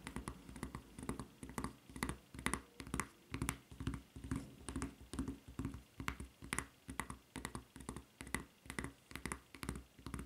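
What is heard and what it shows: Long red nails scratch and tap the printed, serrated surface of a white rubber flip-flop's solid rubber sole near its red strap. The result is a quick, uneven run of short, dry taps and scratchy bursts, each with a soft, low thud and a faint bright edge.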